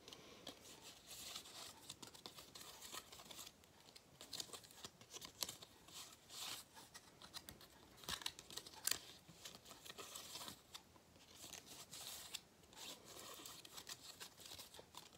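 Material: Foil cardboard.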